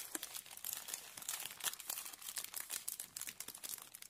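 A medium, thin, glossy Jiffy plastic refill bag full of compressed peat pellets is held in both hands and squeezed and crinkled with the fingertips. The plastic gives off a steady run of quick, dry, bright crackles with no low end, each snap dying away almost instantly.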